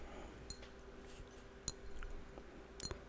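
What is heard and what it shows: A Kiotis Homme Charmant cologne bottle, glass with a plastic top, is tapped a few times at sparse intervals. Each tap gives a short, bright, high-pitched glassy clink that dies away almost at once, over a quiet low background hum.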